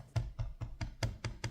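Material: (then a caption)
Glass. Seven quick taps on the glass trackpad of a Lenovo Legion Slim 5 14" OLED (Gen 8) gaming laptop, each a short, dull, low-pitched knock with a faint clicky rattle that dies away almost at once. The trackpad rattles a bit when tapped, suggesting it is slightly loose.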